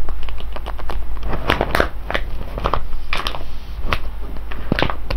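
Fingertips of one hand tap and scratch the crimped top of a full, sealed silver foil coffee bag of whole beans standing on cloth. The result is a quick run of short, bright crinkling taps and scratchy crackles over a steady low hum.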